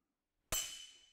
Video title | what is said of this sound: Master the Machete: Real Combat Skills You Can Train Today | What you want is a sharp ringing metallic sound when the opponent's blade slides cleanly off yours.